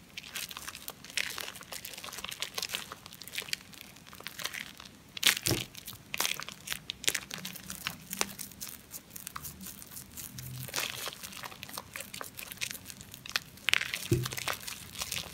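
A hand-sized, solid ball of pressed-together soap shavings, wet and foamy, is squeezed and rubbed between lathered palms and fingers. The result is a steady stream of bright, crackling, squelchy crinkles, with sharper louder pops near 5 and 14 seconds.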